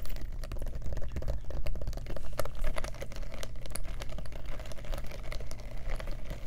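Long nails tap rapidly across the metal- and rhinestone-studded flap of a small black faux leather clutch purse with a metal turn-lock clasp. The taps come as a dense stream of short, sharp clicks over a steady low hum.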